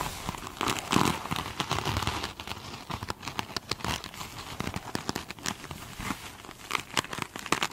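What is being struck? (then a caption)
Glitter-coated foam sponge. Long acrylic nails rapidly scratch the glittery scrubby side of one small rectangular, glitter-coated foam sponge. The result is a dense stream of bright, crinkly scratching and crackling bursts with short, dry decays, louder in flurries near the start and end.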